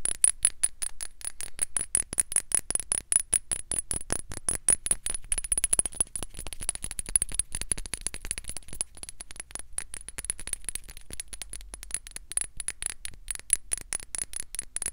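A small amber glass dropper bottle with a white dropper cap and white label is held in one hand and tapped rapidly with long red-painted nails. The taps are quick, dry clicks that die away almost instantly, each carrying a thin, high glassy tone. The tapping runs as a steady, dense patter from start to finish.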